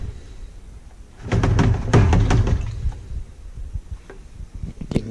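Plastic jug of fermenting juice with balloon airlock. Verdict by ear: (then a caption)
Carbonated. A 5-gallon plastic container of fermenting juice topped with a balloon airlock is shaken, giving a burst of deep, low sloshing thumps followed by quieter knocks and a slight hiss as extra CO2 escapes through the balloon. The hiss shows the must is carbonated and actively fermenting.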